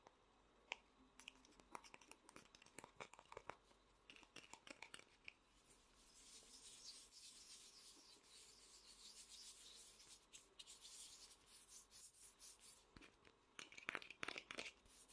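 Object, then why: Small vinyl toy figure. Fingertips rub and scratch the head and sculpted body of a small hollow vinyl Funko Pop figure. Quick, sharp scratchy clicks open the clip, a steady bright rubbing hiss fills the middle, and a burst of louder, crisper scratches returns near the end. The sound is dry and mostly high-pitched, with almost no low end.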